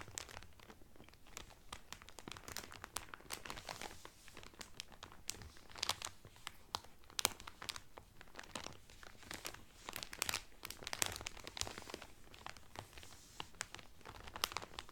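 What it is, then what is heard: Cellophane-wrapped towel crinkled. Fingertips press and crinkle the clear cellophane wrapper around a blue Carnival cotton towel folded flat. Dense, bright crackling snaps come in quick, uneven bursts, each crackle dying away almost instantly over a faint low rustle.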